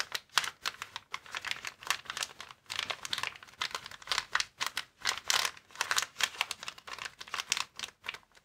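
Fingertips press, tap and scratch a flat, clear plastic air-column cushion packaging bag lying on a table. The result is a dense run of quick, dry, bright crinkles and clicks with almost no low end, each one dying away instantly.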